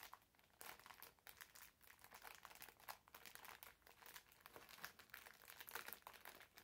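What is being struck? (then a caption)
Foam bath sponge in thin plastic film. A green foam bath sponge in clear plastic film is held by both hands at the ends while the wrapper is squeezed and crinkled. Dense, bright crinkling comes in quick bursts throughout, with sharp crackles and almost no low end.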